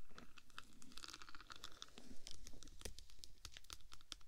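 Long black pointed nails scratch and tap along silver diamond-plate textured vinyl film wrapped around the hollow, cylindrical metal body of a 3Dio binaural microphone. The result is a dense, crunchy, crinkling scratch texture, broken up by quick, sharp, dry clicks that die away almost at once.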